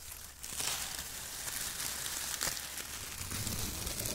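Fingers crumple and squeeze handfuls of shredded brown kraft paper strips, pressing them into the pile. The result is a strong, continuous crinkling and rustling that is mostly bright and high, with a brief quieter moment near the start before it builds.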